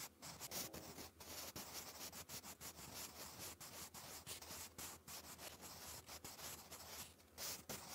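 A wooden graphite pencil, held in the fingers, scratches handwriting strokes across a lined, textured notebook page. The result is a steady, bright, dry scratching with short, quiet gaps between strokes.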